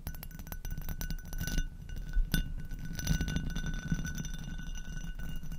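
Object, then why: Textured glass goblet. An empty, hollow amber hobnail glass goblet, turned upside down over a fluffy-covered microphone, is tapped and scratched by long acrylic nails across its bumpy bowl and stem. Dense, close, low-heavy scratching and quick taps run throughout, with a few louder clicks and a faint steady glassy ring near 1.5 kHz and higher.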